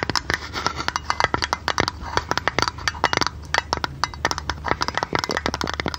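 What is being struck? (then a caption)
Small metal tin lid. Long red nails tap rapidly and unevenly on a small oval metal tin or lid with a silver rim and a blue painted top. Each tap is a sharp, bright metallic click centred near 2 kHz that dies away almost instantly. A faint low hum sits underneath.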